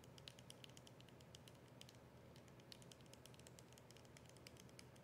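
Long nails tap quickly on the plastic body and label of a capped, partly filled plastic soda bottle as it is held and turned. The result is a steady patter of short, bright, dry clicks that die away almost at once, over a soft low rumble.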